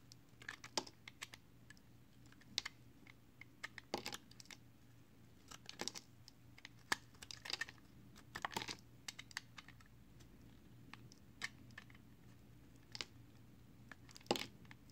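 A solid multicolored recycled soap bar, made of soap chips and held in hand, has its edge shaved into flakes with a box cutter blade. Quiet, dry, bright scraping clicks come in irregular bursts and short clusters, each dying away almost at once. A faint low steady hum sits underneath.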